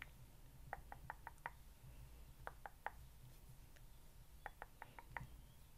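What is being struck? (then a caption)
Rose quartz stone facial roller with metal frame. A small rose quartz facial roller with solid stone rollers on a metal frame is held in one hand and tapped with the nails. Short, dry clicking knocks with a faint glassy ring around 860 Hz come in three quick bursts over a steady low rumble. Each tap dies away almost instantly.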